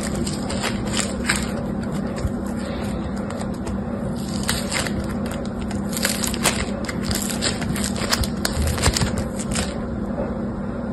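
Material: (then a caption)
Foam beads. A fist-sized, solid clump of yellow and green foam bead clay (floam), its beads held in a binder, is stretched, pressed into a ball and squeezed apart by two hands with long pink-painted nails. Fingertips and nails knead and crush it, giving many small crackling pops and bright snaps over a steady low rumble.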